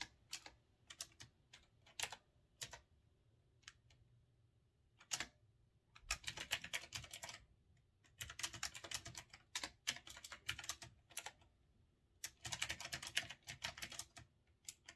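Fingertips type on a retro typewriter-style mechanical keyboard with round keycaps, producing sharp, bright, quickly-decaying key clicks. Scattered single presses give way to dense bursts of rapid typing separated by short pauses.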